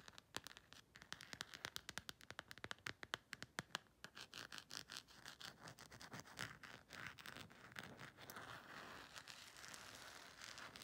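Long nails tap and scratch the textured back of a thin, hollow black silicone/plastic phone case with an embossed colorful print. Quick, dry, bright clicks come first, then blur into a denser, hissy scratching toward the end.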